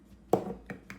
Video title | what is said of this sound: How To Render Tallow: Wet vs. Dry, and must know tips! | when you tap on it and it sounds solid that one has sealed